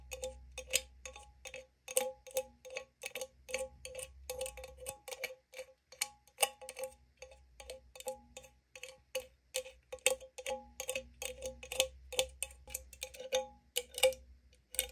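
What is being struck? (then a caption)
Aluminum drink can. Long acrylic nails tap and scratch the lid and raised pull tab of an opened 500 ml green AriZona aluminum can, which sounds hollow; its fill level is not visible. Dozens of quick, bright, clicky taps, each with a short hollow ring around 516 Hz, are mixed with light scratching over a faint low hum.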